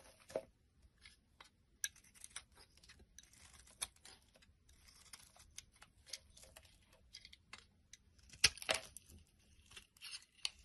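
A blade scrapes and cuts flakes from the top of a solid light-green bar of soap held in the palm. Quiet, bright, crisp scratching and crackling runs irregularly throughout, with short dry snaps of sharper cuts standing out, the loudest cluster near the end.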